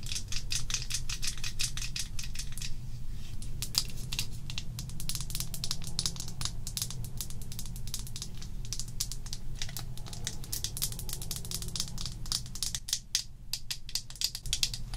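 A small glass bottle of L'Oreal Infallible liquid foundation with a black and red pump cap, partly full, is held in the hand and tapped and scratched with long acrylic nails. Rapid, crisp, bright clicks and ticks run steadily over a constant low rumble, with brief pauses between bursts.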